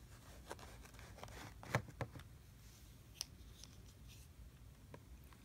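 A small hand-held plastic tool scrapes and cuts lines into a flat layer of kinetic sand in a blue plastic tray. Soft, gritty scraping runs throughout, broken by a few brief, sharper clicks and ticks. The overall level stays quiet.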